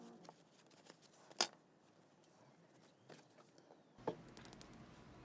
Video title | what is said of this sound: First time using a nail form - Beginner | you can hear the tapping sound now. So the nail is completely dry.